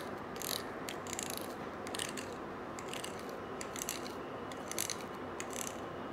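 A stiff-bristled brush scrubs a small gold-colored coiled wire bangle held in one hand. The result is a steady, dry, scratchy rasp with repeated bright, crackling bursts as the bristles catch on the metal coils.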